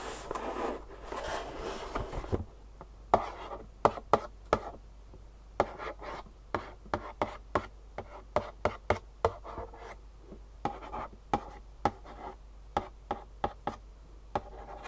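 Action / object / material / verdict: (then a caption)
tap / cardboard box / cardboard / none. Long fingernails scratch and then tap the front face of a long, rectangular, green-and-black printed cardboard Superfeet shoe insole box, held in one hand and hollow with the insoles inside. A couple of seconds of bright, papery scratching give way to a series of sharp, dry, hollow taps that die away almost instantly, with quiet gaps between them.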